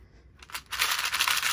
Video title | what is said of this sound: DMC 028: Organizing Projects by Feel | That's what my stitch markers sound like. You can hear the difference.